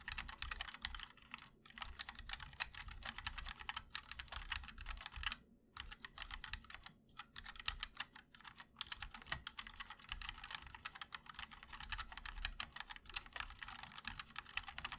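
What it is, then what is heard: Mechanical keyboard being typed on. A compact 60% mechanical keyboard with a black aluminum case, white and black GMK Monochrome plastic keycaps and linear MOD-L switches, set with a wooden wrist rest, is typed on continuously and rapidly with the fingertips of both hands. A dense, steady stream of short, bright clacks with a soft low thump underneath; each keystroke dies away almost instantly, with brief pauses between bursts.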